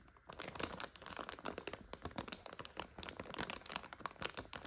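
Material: Plastic.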